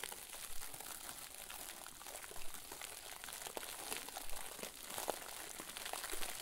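A round white plastic bag full of soft, fluffy stuffing is pressed and squeezed with fingers and thumbs. Steady, dense crinkling and soft crunching rustle throughout, with brief brighter crackles popping out at irregular moments. The sound stays quiet and close, with no ringing after each squeeze.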